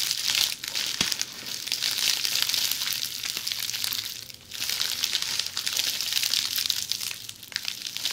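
Long polished fingernails scratch across a roll of red plastic bubble wrap lying on its side, making a dense, continuous crinkling and scratching that is almost entirely high and bright. The sound briefly drops quieter around the middle before the scratching picks back up at full intensity.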